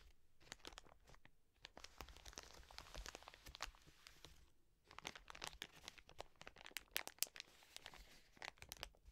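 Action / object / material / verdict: scrape / soft plastic wet wipes packet / soft plastic / none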